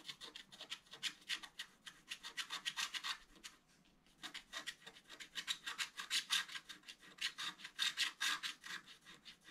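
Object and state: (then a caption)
Scratch art paper being scratched. A wooden stylus rubs and scratches across a flat black-coated scratch art paper card, filling the basin area with dense strokes. Quick, bright, raspy strokes come in a rapid, steady rhythm with almost no low end, pausing briefly near the middle before resuming.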